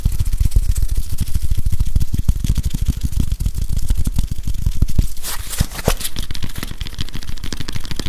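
Fingers rapidly scratch and tap a grey whiteboard eraser, a plastic body with a felt pad, held in both hands in front of a microphone. The close, dense tapping gives mostly deep, muffled thumps, with brighter scratchy bursts rising in the middle of the clip.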